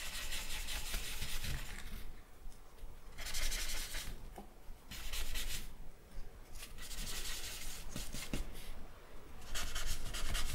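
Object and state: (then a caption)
Charcoal shading on drawing paper. A charcoal stick is dragged and rubbed across a flat sheet of drawing paper on a wooden table to shade a portrait. Bursts of bright, papery scratching rubs alternate with quieter pauses over a steady low background rumble.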